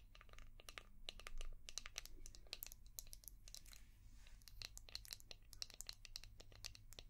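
A palm-sized, translucent orange hard plastic brush shaped like a seashell, with a ridged back, is tapped and scratched with long painted nails. The result is a dense run of quick, sharp, bright clicks and crinkly scratches with almost no ring, over a steady low background hum.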